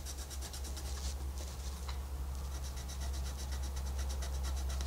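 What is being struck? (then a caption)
Paper coloring book page under a wooden colored pencil. A wooden colored pencil held in the fingertips rubs and scratches back and forth across the flat paper page of a wolf coloring book lying open on a white desk while coloring. Quick, fairly irregular strokes make a bright, papery scratching hiss over a steady low hum.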